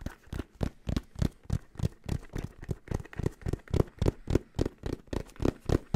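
Fingertips rapidly tap and scratch a black, rounded, fabric-covered hard-shell headphone case with a red detail. About 24 quick, dull, low thuds land at a fast but slightly uneven pace, each dying away almost instantly, with faint scratchy texture between them.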